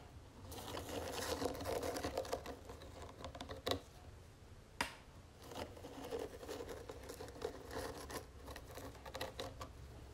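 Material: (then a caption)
Wood. Long nails tap and scratch the sides of a small, round, hollow wooden jewelry box with gold metal trim and feet. The result is a quiet, irregular patter of soft hollow taps mixed with dry scratching and a few sharper clicks, each dying away almost at once.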